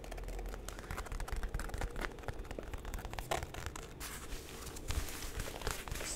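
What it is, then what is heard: Fabric zipper pouch. Long painted nails scratch and tap the surface of a medium, soft orange floral fabric zipper cosmetic pouch that appears empty, held close to the mic. The result is a steady, low, soft rustling scratch broken by quick light taps and brief sharper scrapes.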